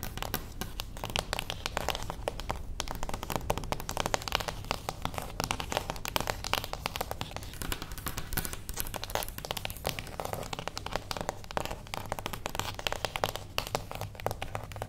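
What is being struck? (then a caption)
Small cardboard box. Fingernails tap rapidly on the top edge of a small, closed beige cardboard gift box standing on its edge. The dense, steady stream of short, dry clicks has a crinkly, papery texture over a faint low hum and continues evenly for about 15 seconds.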